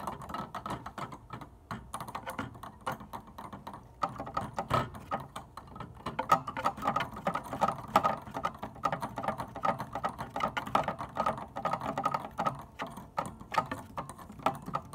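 A hand with long dark nails taps quickly along the fronts and tops of an organ keyboard's plastic keys without playing notes. The result is a dense, dry, typing-like patter of short clicks centered around 1.3 kHz, growing a little louder after about four seconds.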